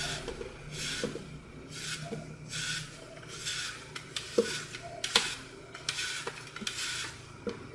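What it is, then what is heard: Floral foam block being carved. A hand-sized block of dense, porous green floral foam with a blue-purple glitter surface is held in one hand and carved and sliced into chips with a red utility knife blade. Crumbly, bright scraping strokes repeat in waves, broken by several sharp, short clicks as the blade cuts through.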